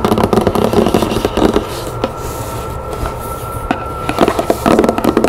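Long nails tap and scratch the sides and top of a large, hollow, rectangular floral-printed cardboard box with its lid on, resting on a wooden table. Quick, irregular bursts of dull, hollow taps open and close the clip, with softer, steadier scratching in between.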